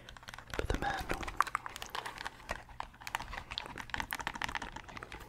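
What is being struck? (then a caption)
Hard plastic game controller. A translucent purple hard-plastic Nintendo 64 controller with colored buttons is tapped with fingernails while its buttons are pressed. The result is a dense run of short, dry plastic clicks and taps with bright ticks and brief thumps, each dying away almost at once.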